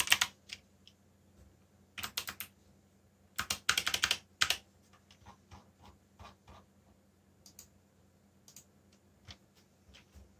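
Fingertips type rapidly on the black plastic keycaps of a backlit mechanical keyboard. Bright, sharp clicks come in quick bursts with short pauses, and each clack dies away almost at once over a faint low hum.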